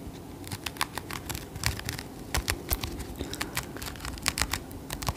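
Long acrylic nails scratch and tap over a small soft crocheted yarn mushroom with a red cap and white stem, held in the hands. A quick, uneven run of short, bright clicks and scratches rises over a soft, low fabric rustle, each tap dying away almost instantly.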